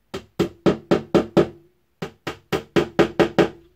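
A small hammer taps a pin into the frame of an IKEA bed being assembled: thirteen short, sharp knocks, six in a quick run, a brief pause, then seven more. Each knock has a dry wooden attack with a faint tone near 350 Hz. The changed sound means the pin has reached the bottom of its hole and is fully seated, so tapping should stop before it goes through to the other side.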